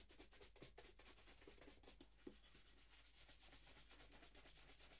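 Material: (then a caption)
Leather. A single hollow black leather dress shoe, held in one hand, is brushed back and forth with a wooden-backed bristle shoe brush held in the other. The result is a steady run of quick, dry, bristly swishes with a bright, hissy edge over a constant low hum. One sharper knock stands out partway through.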